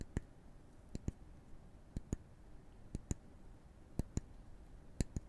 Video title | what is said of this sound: [男音声ASMR] 心が落ち着く5-4-3-2-1 グラウンディング 【コーピングASMR・心の応急処置・セルフケア・解説&実践ロールプレイ・木のタッピング】 | این صدای ضربه زدن به چوب است